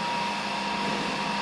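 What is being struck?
Nothing is struck.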